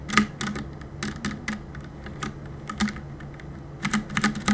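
Fingertips tap the plastic keycaps of a black mechanical keyboard in uneven bursts of quick, clicky keystrokes. Each press is a short, sharp clack with a bright top, over a steady low hum. The bursts are separated by brief pauses.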